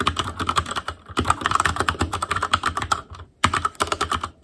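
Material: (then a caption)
Plastic. Fingertips of both hands type on an Asus Claymore Core mechanical keyboard with plastic keycaps. Quick runs of sharp plastic clicks, with a tone around 1.3 kHz, come with brief pauses near one second and just past three seconds. Each keystroke dies away almost at once.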